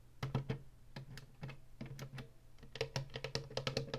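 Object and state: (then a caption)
Plastic game console tapped with fingernails. Long nails tap the buttons of a hollow plastic Atari retro game console and scratch along its ridged top and woodgrain front edge. The result is a quick series of sharp, hollow plastic clicks and taps with brief scratchy strokes between them, over a low steady hum.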